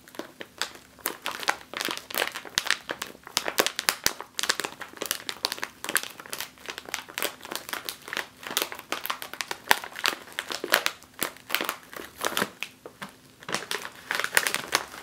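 A full 5 oz foil-lined plastic chip bag lying on a table is pressed and scratched by long nails, crushing the plastic. Dense, rapid crinkling and crackling fills the clip with many sharp, bright bursts and almost no low end. Each burst fades almost instantly in a close, small-room sound.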